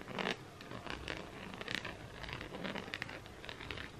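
Fingernails scratch and tap across the bumpy surface of a round, flat, hand-sized multicolour coaster made of solid fused plastic beads. The result is a steady run of quick, dry, zipper-like scratches and light patters over four seconds.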